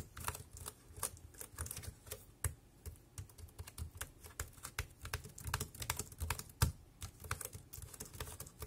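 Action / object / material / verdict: tap / plastic computer keyboard / plastic / none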